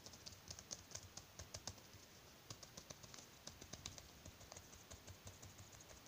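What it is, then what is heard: Latex glove. Bare fingertips tap rapidly and rub across a thin white latex glove worn on the other hand, with plastic bead bracelets on the wrist. A quick run of soft, dry, bright clicking taps with brief rubbing sounds between them, each tap dying away almost instantly.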